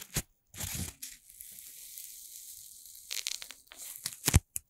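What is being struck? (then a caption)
Corn starch foam stick. A stick of several red playcorn pieces joined together, about hand length and made of light solid corn starch foam, is held over a microphone and squeezed, rubbed and pressed with fingertips and long red-painted nails. Short crunchy bursts give way to a steady, soft, bright rustle, then crackly crushing that ends in a sharper, louder crunch.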